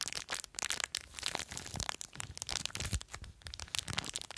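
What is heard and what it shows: Long acrylic nails scratch, squeeze and crinkle a small clear plastic bag full of blue polystyrene foam beads. The result is a dense run of bright, crisp crinkles and quick crackling snaps with very little low end, each burst dying away almost instantly.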